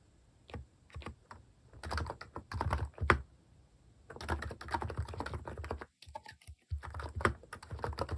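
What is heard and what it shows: Fingertips press and tap the plastic cat keycaps of a Hanmumu mechanical keyboard while typing. Quick muted clacks come in bursts separated by short pauses, with a deep, low thock and only faint brightness, each key dying away almost at once.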